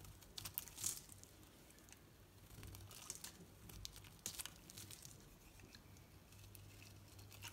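A knife blade shaves curls from a solid green Dalan soap bar held in the hand. The result is quiet, bright, crisp crinkling and scraping with brief sharp ticks, over a faint steady low hum.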